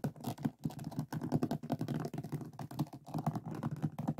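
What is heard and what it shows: Fingertips and nails scratch and tap across the resin drills of a finished diamond painting lying on a flat board. The result is a dense, continuous run of quick, dull clicks and rough scratching, mostly low and muffled with almost no bright edge. Each tap dies away at once.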